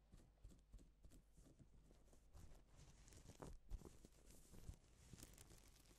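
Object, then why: Plastic sequin fabric brushed by a gloved hand. A gloved hand sweeps across a flat, reversible pink and silver plastic sequin fabric sheet, flipping the sequins. It makes a quiet, continuous rustling and light crinkling with soft ticking clicks. The sound is dull and low-weighted, with brief brighter flicks.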